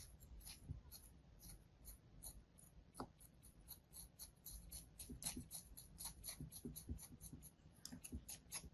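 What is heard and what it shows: A hand-sized solid slab of beige kinetic sand, held in the palm, is sliced repeatedly with a thin metal blade. Each cut gives a short, crunchy scraping sound with a bright, crisp grit on top of a soft low rumble, in a quick irregular series.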